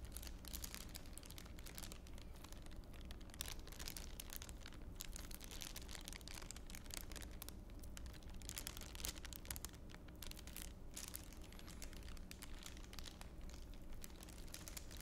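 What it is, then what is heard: Thin plastic bag being crinkled. An empty, thin clear plastic bag with a blue label is held in both hands and stretched, twisted and crinkled with the fingers. Dense, continuous bright crackling and rustling runs throughout, over a steady low hum, at a quiet level.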